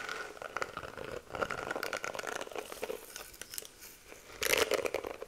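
Long nails rapidly scratch and flick through the plastic bristles of a pink detangling hairbrush held close to the mic. The result is a dense, dry run of crinkly, crackling scratches and ticks with a bright edge and almost no low end. A louder, fuller burst of flicking comes near the end.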